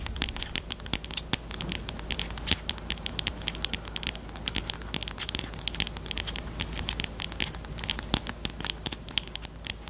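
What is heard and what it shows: Long teal nails tap and scratch the barrel of a pastel pink plastic highlighter with a black cap, held in both hands. Rapid, dense bright clicks and dry scratchy crackles run throughout, over a steady low hum.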